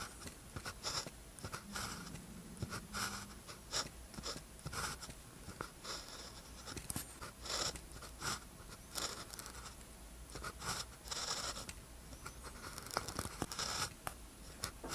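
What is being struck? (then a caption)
Ballpoint pen on a thin paper sheet. A blue ballpoint pen tip scratches across a thin paper practice sheet with a red grid, lying flat, while writing characters. Short, dry, bright scratching strokes come in quick bursts and pauses over a quiet, steady low hum.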